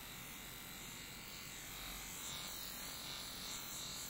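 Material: Nothing is struck.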